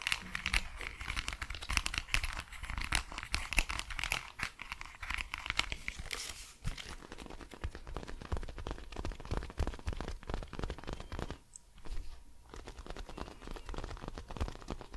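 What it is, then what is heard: Plastic headphones. Long nails scratch and tap across the hollow plastic earcup and band of pink and white cat-ear gaming headphones with padded cushions. The result is a dense, rapid stream of bright, crinkly scratches and clicks, loudest in the first six seconds and then quieter, with brief pauses near the twelfth second.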